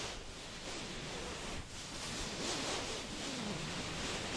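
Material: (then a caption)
Fabric. Long acrylic nails scratch and rub the fabric surface of a soft, stuffed orange throw pillow held in front of the microphone with both hands. The result is a steady, broadband rustling hiss, bright on top, with a brief dip around 1.6 seconds before the scratching picks up again.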